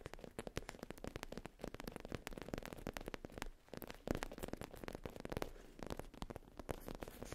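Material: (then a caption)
Faux leather. Long pink-tipped nails tap and scratch the surface of a soft, flat black faux leather zip pouch with an embossed logo, lying on a fluffy rug. Quick, dull, muted taps with very short decay are mixed with soft scratchy rustling, mostly low and mid in tone.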